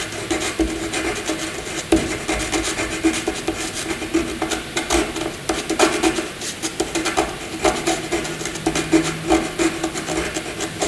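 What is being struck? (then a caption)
Graphite pencil on paper sheet. A graphite pencil scribbles handwriting-like marks across a flat white sheet of paper. A continuous dry, raspy scratching with bright, airy strokes rises and falls in quick bursts over a faint steady tone around 320 Hz.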